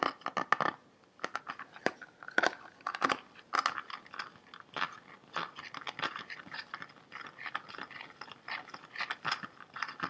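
Fingertips and nails tap and scratch the body of a large, clear, green-tinted, hollow plastic water bottle, partly filled with water and held horizontally and tilted. A rapid, irregular series of sharp, dry, crunchy clicks and scrapes centers in the midrange around 1.2 kHz. Each one cuts off almost instantly, with almost no low end and no ring.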